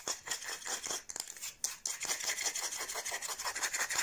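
Long blue nails scratch and rub fast across the back of the bowl of a light, solid wooden kitchen spoon held up toward the camera. The result is a rapid, irregular run of dry, bright scraping strokes with a hissy high-frequency texture and almost no low end, each stroke fading quickly.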